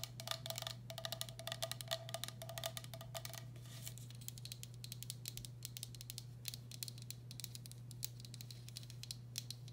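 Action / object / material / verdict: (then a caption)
tap / glazed ceramic bowl / glazed ceramic / none. A medium, hollow, empty turquoise speckled glazed ceramic bowl has its outer side wall tapped and scratched with long black acrylic nails. Rapid, quiet clicking taps with bright, high tops fill the clip over a steady low hum. Up to about 4 seconds a ringing tone near 660 Hz sounds under the taps, then fades as the sound turns to sparser, drier clicks and scratching.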